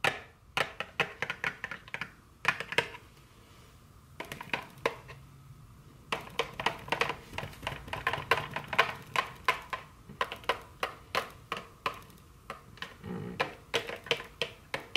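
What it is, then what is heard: Cellophane-wrapped cardboard candy box. A small, full, sealed cardboard box of dark chocolate candy wrapped in cellophane lies on a wooden table and is tapped with the very long curved fingernails of both hands. Dozens of quick, crisp, bright clicks with a slight crinkly edge come in irregular bursts separated by brief pauses. Each tap dies away almost instantly, with little low-end body.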